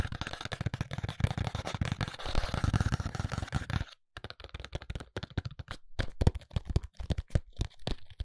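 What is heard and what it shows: A small, hollow white ALBION paperboard cosmetic box is tapped and scratched with fingertips and short nails along its face and edges. For the first four seconds there is dense, continuous scratching and tapping. After a brief silence come sparser, separate dull taps with low, hollow body and very short decay.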